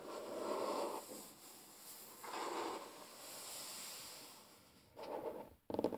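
Fingertips and short natural nails of both hands tap and scratch a large, solid, flat wooden tabletop. Soft, dry scratching swells come in several short passes, with a brighter hiss between them. The clip ends in a sharper burst of quick scratches.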